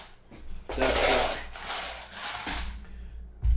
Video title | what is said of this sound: Hudson and Pa's 6th Livestream. Lets find some Silver. Could we find a Benji or a Walker? | listening for that dull thud that's the giveaway for the magic coin